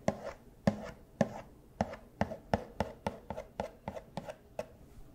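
A small cardboard Funko Pop box with a plastic window and a figure inside is held up and tapped with costume paw claws. Thirteen sharp, hollow taps land at an uneven pace, each a dry click with a brief boxy resonance around 200 Hz and 600 Hz that dies away almost at once.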